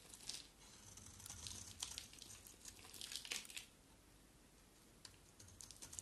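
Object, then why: Soap bar. A small solid green bar of soap with a black coating is held in the hand and shaved with a box-cutter blade. Quiet, bright scraping and crinkly shaving strokes come in bursts, loudest near the middle of the clip, followed by a calmer stretch with a few light ticks at the end.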